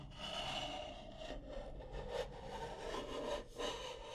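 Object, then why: Stack of nested wooden bowls. Long nails scratch and tap the outer wall of a medium-size stack of nested, striped wooden bowls, hollow and empty. A continuous dry, woody rubbing and scraping runs throughout, centered around 530 Hz with a bright, airy top. It stays at a fairly steady level with a few brief dips.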